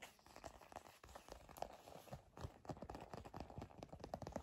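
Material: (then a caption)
Leather. Long nails scratch and tap on a black leather bifold wallet, making a quiet, dense run of dry scratches and soft, quick taps. The sound sits mostly in the low and middle range with little brightness, and each tap dies away almost at once.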